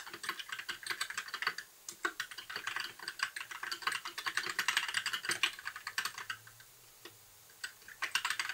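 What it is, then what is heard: Plastic mechanical keyboard. Fingertips of both hands type steadily on a compact white mechanical keyboard with plastic keycaps, a blue backlight and a hollow case. Bright, crisp key clicks centered near 3 kHz patter in a dense, continuous stream, with brief pauses around the two-second and seven-second marks. There is almost no low-end body.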